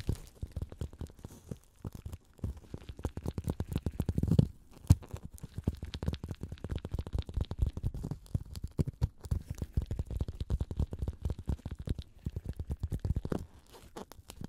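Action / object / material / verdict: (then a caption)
scrape / green floral foam block / floral foam / none. A hand-sized solid block of unwrapped green floral (oasis) foam, held in both hands, is scratched and rubbed with black nitrile-gloved fingertips. The result is a quiet, dense stream of fast, dry crunching and scratching ticks with a low, muffled body, swelling briefly around the middle before settling back to a steady crackle.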